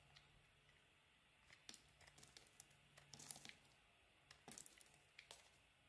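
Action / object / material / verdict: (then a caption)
scrape / soap bar / soap / none. A small, worn-down cream bar of soap is carved with a utility knife blade held in a hand with long silver nails. The blade makes a quiet series of crisp, bright scraping and crinkling cuts, with soft pauses between them and short flurries of shaving.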